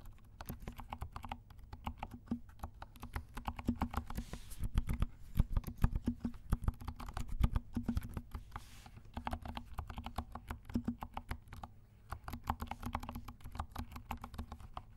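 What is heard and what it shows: A compact 68-key mechanical keyboard with dark plastic keycaps and silent switches is typed on with the fingertips of both hands. Soft, muted keystrokes patter in quick, dense runs, with their weight sitting low and dull rather than bright. A louder, busier burst of typing comes in the middle.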